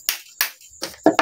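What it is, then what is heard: Zinc scrap, hard and ringing. Five sharp hammer strikes on zinc scrap, said to contain aluminum, each give a bright clanging ring centered around 660 Hz that fades quickly. The last two hits come closer together and sound fuller. The metal sounds hard and ringing, unlike lead.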